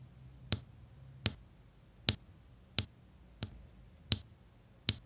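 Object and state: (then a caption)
Resin diamond painting drills pressed onto adhesive canvas. A plastic drill pen tip repeatedly presses small solid resin diamond painting drills onto a flat printed adhesive canvas. Seven sharp, bright click-like taps are heard at steady intervals, each dying away almost at once over a faint low background hum.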